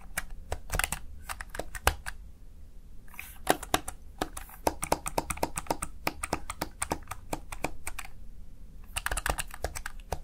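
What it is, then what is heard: Plastic gaming keypad. Fingertips rapidly press the keys of a plastic Razer Tartarus Chroma gaming keypad, producing a dense run of sharp, dry clicks and clacks in quick bursts with brief pauses. Each keystroke is crisp and short with no ring, over a faint low hum throughout.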